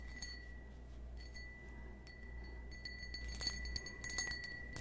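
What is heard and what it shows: Fingernails tap a small, hollow, empty cut-crystal stemmed wine glass held in the hand. The taps come at an irregular pace, each giving a bright, glassy clink with a steady ring near 1.9 kHz and higher overtones that fade quickly. They grow somewhat louder toward the end over a low background rumble.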